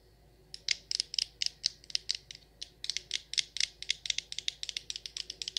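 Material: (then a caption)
Glass. Long acrylic nails tap and scratch the sides and frosted glass lid of a medium frosted glass jar candle filled with wax. About 28 quick, bright clicks come in an uneven rhythm, each dying away almost instantly, with faint scratchy texture in between and almost no low end.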